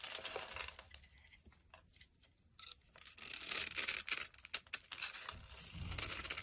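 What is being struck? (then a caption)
Bar of soap cut with a blade. A utility-knife blade scrapes across a solid pink, grid-scored soap bar held in the hand, shaving off small cubes that crumble away. Crisp, bright scraping and crumbling strokes come in quick, uneven bursts, softer in the middle and louder toward the end, with little low end.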